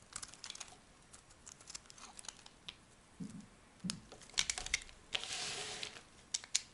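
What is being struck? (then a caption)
Bar of soap cut with a metal blade. A metal blade cuts and scrapes a solid tan soap bar, shaving off dry flakes. Quiet, crisp, bright crackles and clicks come in scattered bursts, with one longer rasping scrape near the end.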